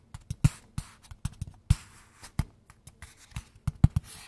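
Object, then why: Small cardboard box. A small, hollow kraft-brown cardboard box is held in both hands and tapped rhythmically with fingertips and nails. About 18 short, dry, low hollow thumps form an uneven beat, some carrying bright clicky edges from the nails. Each hit dies away almost at once into near silence.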